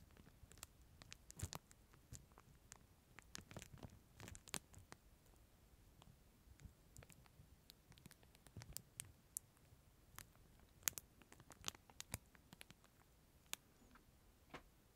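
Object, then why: Thin plastic film wrapper around a plastic spoon. Fingertips rub and crinkle the clear, thin plastic sleeve wrapped around a small disposable plastic spoon, held in front of and beside the microphone. Quiet, sharp, bright crackles and soft rustling scratches come in irregular bursts throughout, each snapping off almost instantly.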